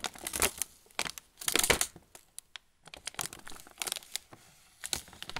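A sealed, full plastic film pretzel bag is held in both hands while fingertips rub and press its surface. It gives irregular bursts of bright, crisp crinkling with short pauses between them, most of the energy sitting high with little low end. Each crackle stops almost instantly.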